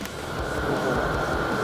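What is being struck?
Nothing is struck.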